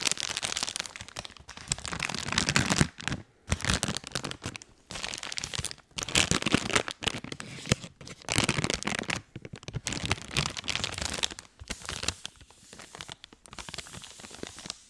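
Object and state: Plastic wet wipes package.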